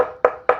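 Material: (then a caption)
Wood. Knuckle knocks on the vinyl-wrapped, wood-finish cabinet of a JBL Studio 630 bookshelf speaker give two short, dull thuds centered around 500 Hz that die away almost at once. The cabinet sounds solid rather than hollow, which is good for limiting cabinet resonances.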